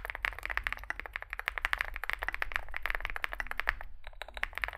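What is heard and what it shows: Both hands type continuously with fingertips on a compact 65% Zoom65 mechanical keyboard with an aluminium metal case, foam filling, lubed switches and SA plastic keycaps, resting on a desk mat. A rapid stream of short, dry clacks centres around 1.8 kHz over a steady low rumble, with a brief lull near the four-second mark before the typing resumes.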